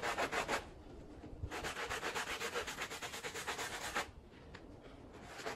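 A handheld blue bristle brush scrubs a small wet, foamy Persian-style pile rug, making rapid, rhythmic back-and-forth strokes of bright, hissy friction at about four per second. A short burst of strokes is followed by a quieter pause, then a longer steady run of scrubbing that drops off into softer brushing near the end.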